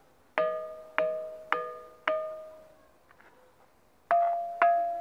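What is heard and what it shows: A small hand-held pebble taps the top surface of a large, solid, ancient limestone block at the Jerash ruins. Six distinct strikes each ring out with a clear, bell-like mid-pitched tone and bright overtones that fade over about a second. There is a quiet pause with a few faint ticks before the last two taps.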